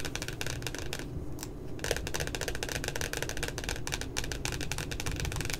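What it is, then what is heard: Glossy cardboard notebook cover. Long glitter nails tap rapidly on the glossy cardboard cover of a pink spiral puppy notebook. The result is a dense, continuous stream of crisp, bright clicks with very little ring, over a steady low rumble. There is a brief quieter pause in the middle.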